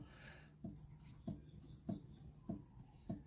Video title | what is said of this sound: Corven Touring: RUIDO RARO EN EL MOTOR | se escucha el golpecito Eso es porque está cabeceando el pistón